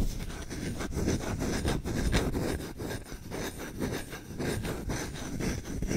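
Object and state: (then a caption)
Wooden spoon being scratched. The bowl of a solid wooden spoon, held close to the mic, is scratched and rubbed quickly with short fingernails and fingertips. It makes a dense, continuous rasping scratch with a rapid stroke rhythm and a heavy low-end rumble from the close contact. The level pulses slightly with each pass but never drops out.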